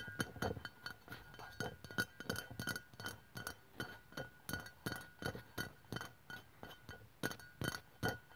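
Long pastel press-on nails tap in a quick, uneven rhythm on the sides of a white Nivea aluminium aerosol deodorant can, about 150 ml, which is hollow, pressurized and standing upright on a wooden table with an earphone mic lying in front. Each tap is a short, tinny metallic click with a faint bright ping that dies away almost at once.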